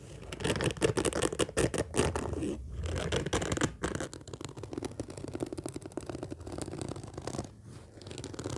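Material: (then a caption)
Fabric. Long fingernails and fingertips scratch and tap across the top of a large, flat, orange padded fabric case with a black zipper lying on a table. The result is a dense, rapid run of dry, rasping scratches over soft, muffled taps, with a bright, brushy edge. Each sound stops instantly with no ring.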